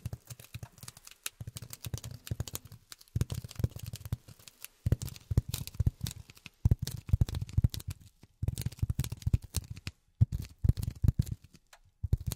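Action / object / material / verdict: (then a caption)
tap / polyethylene foam block tapped with rubber finger pads / polyethylene foam / none. Polyethylene foam is tapped with silicone rubber finger pads. Rapid bursts of soft, dull taps land in uneven clusters with brief pauses. Each tap is a short, low thud with almost no ring or bright edge.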